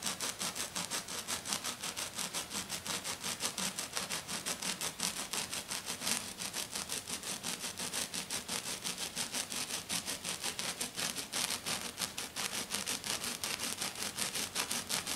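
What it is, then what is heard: Glitter-covered sheet scratched with nails. Fingernails painted black scratch hard and fast across a flat, silver glitter-covered sheet. The result is a rapid, steady train of bright, hissy scraping strokes, about three per second, with almost no low end and each stroke cutting off quickly.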